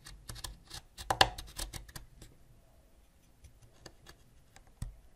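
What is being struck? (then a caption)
Wax crayon scraped with a ceramic knife. A white ceramic knife scrapes a solid purple wax crayon up close, scattering wax flakes. Dry, bright scratchy strokes and crisp ticks come in a busy cluster over the first two seconds, then thin out to sparse light clicks, with one sharper tick near the end.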